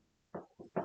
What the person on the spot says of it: it's not really wood is my desk it's plastic